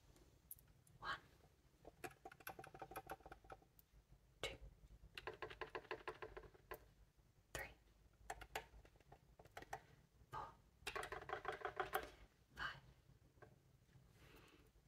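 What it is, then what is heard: Fingernail tapping on metal bassoon keys. Long painted fingernails and fingertips tap and press the nickel-silver keys of an upright wooden bassoon, a large hollow instrument. Quiet, rapid clicks and taps come in scattered bursts, some carrying a faint mid-pitched metallic tone, and each one dies away almost instantly.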